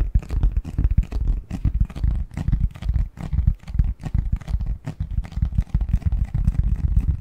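Fingertips tap and scratch the surface of a medium-sized, hollow, printed cardboard Christmas box lid held in both hands. Quick, irregular hollow taps with deep low thumps blend with soft scratchy rustling, each tap dying away almost at once.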